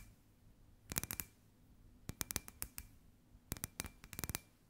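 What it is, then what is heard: Glass ball lamp tapped with fingernails. Long white acrylic nails tap and scratch on a hand-sized hollow clear glass sphere lamp with a fairy-light wire inside, held in both hands. Three quick bursts of sharp, bright clicking taps ring only briefly over a faint low background hum.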